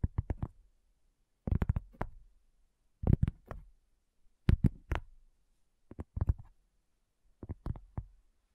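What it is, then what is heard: Cork coaster. Long fingernails slowly tap a solid, round, flat cork coaster, making soft, dull, low taps that die away almost instantly. The taps come in six short clusters separated by brief pauses.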